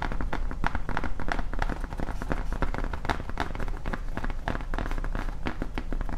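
Long nails tap and scratch along the surface and top edge of a large, flat, solid grey foam Halloween tombstone sign prop. The result is a dense, continuous run of quick, dull taps with short scratchy strokes between them. The sound is heavy in the low end, and each tap dies away almost at once.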